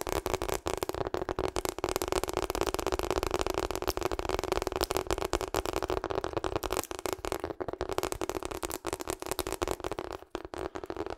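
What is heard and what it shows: Long acrylic nails tap fast on a hollow pink and purple ribbed rubber hot water bottle held upright in front of the mic. The result is a steady, dense stream of quick, dry clicks with a hollow, muffled midrange tone and almost no ring after each tap. The level dips briefly near the end.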